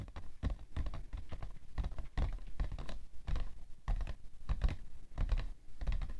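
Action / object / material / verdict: tap / cardboard tissue box / cardboard / none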